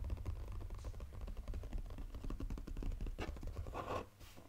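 A full, flat brown textured cardboard Godiva chocolate box is tapped quickly with fingertips on its lid, then lifted up. A rapid run of soft, dull, low-heavy taps dies away almost instantly, with a light scratchy rustle near the end as the box is lifted.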